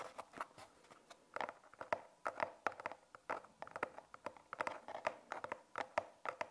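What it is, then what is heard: Cardboard box. Long painted nails tap and scratch the surface of a small, closed brown cardboard product box with a barcode label, which likely holds magnet balls. A quiet, quick series of crisp, dry, hollow taps and brief scratches, each dying away almost at once, sits in a papery midrange with no low end.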